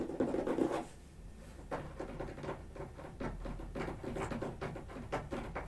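Left-hand fingertips and nails scratch and tap the top and edge of a closed, medium-size brown corrugated cardboard box resting on the floor, likely hollow and empty, while the right hand stays away from a second box. A louder, rough scratching burst opens the clip, then gives way to quieter, rapid, uneven scratches and soft taps with a dull, papery tone and very little ring.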